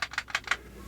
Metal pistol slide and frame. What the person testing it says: When you shake it, it's like a striker fire gun. It's not got those super tight tolerances where the where the slide meets the frame.